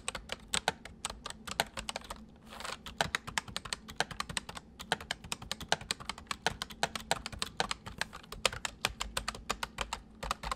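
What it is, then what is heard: Plastic mechanical keyboard. Both hands type with their fingertips on a full-size white plastic mechanical keyboard with white keycaps resting on a wooden desk. A steady stream of sharp, bright clicks and clacks continues throughout, with a brief lull just after two seconds. Each keystroke snaps off quickly with almost no ring.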